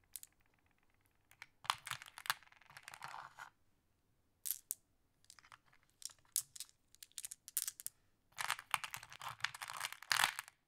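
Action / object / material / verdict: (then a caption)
scrape / small flat glass pebbles in a wooden tray / glass / none. Small, solid, flat glass decorative pebbles are sorted in a wooden tray by fingertips and long nails, with the green pebbles gathered in one hand. Quiet, bright clicks and clacks come in short bursts and scattered single taps. Each one dies away almost at once, with brief pauses between.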